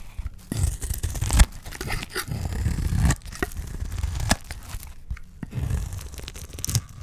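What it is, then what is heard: Dry soap bar being cut. A utility knife blade is scraped and sliced across the face of a solid, dry green olive soap bar held in the hand, shaving off flaky curls. The clip is a steady run of dry, low, crunchy scraping and tearing strokes with short crisp bursts.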